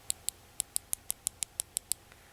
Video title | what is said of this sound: pinterest nail polish flowers older video | it sounds like glass when you hit against them